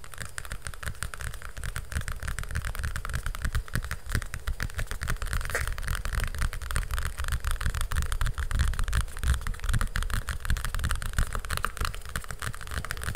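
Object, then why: Hardcover book with glossy cardboard cover. Long fingernails rapidly tap and scratch the glossy cardboard cover of a large hardcover picture book held upright close to the mic. The result is a dense, fast, irregular stream of dull, low thumping taps layered with bright, crackly scratching that stays steady for the whole clip.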